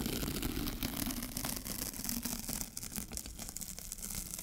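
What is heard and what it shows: A sticky paper sheet is slowly peeled off a lint roller held in one hand, lifted with long fingernails. It makes a steady, crackling adhesive rasp with many small bright snaps over a low, hum-like undertone, easing slightly in loudness toward the end.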